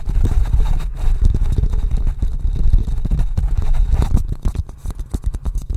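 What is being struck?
Small wooden bowl.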